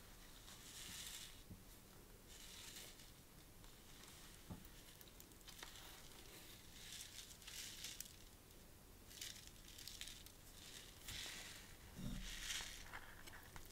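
A flat, thin paper birthday card with a glitter print of black and gold balloons is handled and scratched with long painted nails. Soft, bright scratching and crinkling bursts come in uneven waves over a faint low rumble, with a few sharper taps mixed in.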